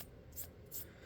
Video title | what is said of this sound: Tabletop review of a Sig 1911X Stainless (Just a little different) | it sounds like metal. You hear that tone? Just from running my fingers on it?